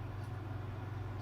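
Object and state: Nothing is struck.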